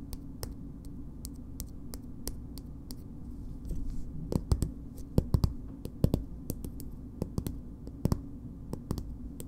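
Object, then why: Plastic cosmetic squeeze tube. Long nails tap and scratch a green plastic BB cream squeeze tube, producing quick, dry clicking taps with bright tips over a steady low background hum. The taps are brief and die away almost instantly, growing louder and more clustered toward the middle of the clip before settling back into softer, scattered clicks.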